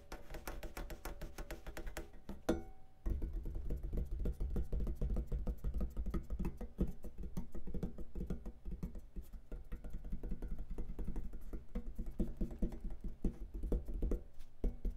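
Fingertips tap and drum rapidly on the black sheet-metal lid of a rack-mount compressor lying on a cloth. The result is a dense run of short, dull, low knocks with a hollow tone around 188 Hz, little brightness, and almost no ring. There is a brief pause just before the 3-second mark.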